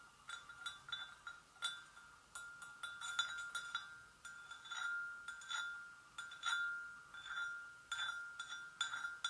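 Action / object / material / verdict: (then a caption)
tap / porcelain gravy boat / porcelain / none. Long nails gently tap the sides of a hollow, empty white porcelain gravy boat, producing a quiet series of bright, glassy clinks. Each tap rings with a clear tone near 1.4 kHz plus a higher overtone, fading quickly between taps.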